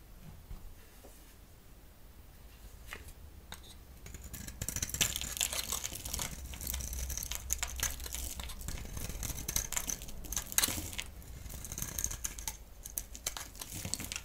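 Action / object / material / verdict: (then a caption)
scrape / bar of soap cut with a blade / soap / none. A solid orange-and-yellow striped bar of soap, held in the hand, is shaved into curls with a utility knife blade. Quiet at first, the sound grows after about four seconds into dense, irregular crisp scraping and cutting with bright, high crackle and a low rumble underneath.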